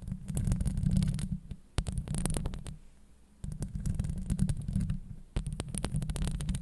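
Long acrylic nails scratch and tap the hollow steel mesh grille of a Blue Yeti microphone. The result is deep, boomy rumbling with dense clusters of sharp, bright clicks. Three bursts are separated by brief quieter gaps.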